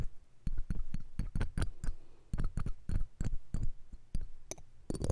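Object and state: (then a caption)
Metal microphone mesh grille scratched and tapped. Metal ear-cleaning tweezers or a pick scratch and tap the round steel wire-mesh grille on the hollow capsule head of the left pencil condenser microphone. About sixteen quick, dry taps and scrapes sound at an uneven pace, each a deep, dull thump with a faint clicky edge that dies away almost at once.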